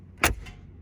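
A steel rear door on a 2021 Mercedes-AMG G 63 SUV is shut, giving a short, heavy clunk with a bright, sharp edge and a quick, softer after-knock that dies away fast. It sounds solid and normal.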